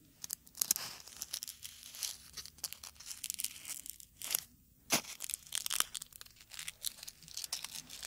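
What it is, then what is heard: Dry, crisp dried rose petals. Small dark red dried rose petals, a dry, crisp natural material, are held between fingertips close to the microphones and crumpled and torn into pieces. Dense, bright crackling and tearing rustles come in many quick bursts with almost no low end.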